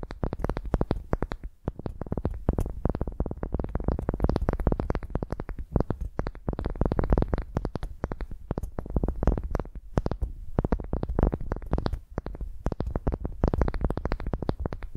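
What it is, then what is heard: Wooden ball scratched with nails. A solid pale wooden ball resting on a microphone is scratched with long nails, making a continuous stream of rapid, dry scratching and tapping strokes. The close contact gives the sound a heavy, boomy low end with very little high brightness, and each stroke stops short with no ring.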